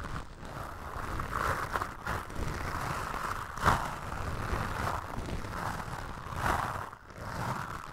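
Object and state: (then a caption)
Foam microphone windscreen being brushed. Toothbrush bristles brush and scratch across a black foam windscreen on a microphone. The result is a steady, close, rustling scrape with a band of brushing texture around 1–2 kHz over a low rumble, swelling and fading in soft strokes with a sharper scratch near the middle.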